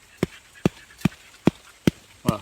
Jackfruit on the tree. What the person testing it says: vous entendez le bruit ça résonne